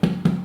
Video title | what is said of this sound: Home Cooking Episode 7 White Soda Bread | You can just check it by tapping it, get that hollow sound. I think it's nicely done there now.